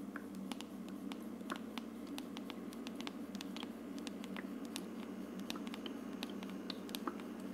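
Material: Plastic.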